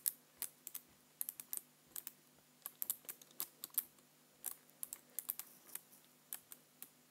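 Fingertips type on the keys of a black plastic computer keyboard and press near the space bar. About thirty quiet, bright, dry clicks come in an uneven rhythm, each stopping at once with no ring.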